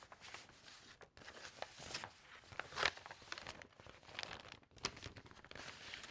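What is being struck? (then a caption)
Stack of glossy magazine paper pages. Fingertips and nails flip over thin sheets in a close-up stack of loose glossy magazine recipe pages. The result is quiet, bright crinkling and rustling with sharp crackles on each page turn and very little low end.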